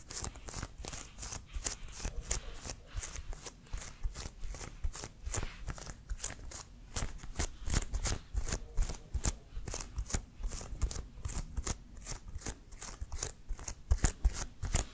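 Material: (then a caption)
Leather. A brown Wilson leather-covered American football, hollow and inflated, is held upright with both hands while fingertips tap and scratch its pebbled cover. A steady, rapid run of short, dry taps gives a soft low thump under bright, crisp ticks, with light scratchy texture between hits and no ring after each one.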